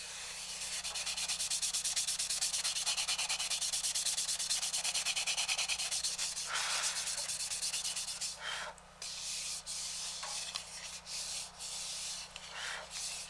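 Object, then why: Walnut wooden bowl. A hand rubs sandpaper over the outer surface of a polished, hollow walnut bowl turned upside down on a towel. For about eight seconds, quick, steady back-and-forth strokes make a bright, dry scratching hiss. The strokes then slow into separate swipes with short pauses between them.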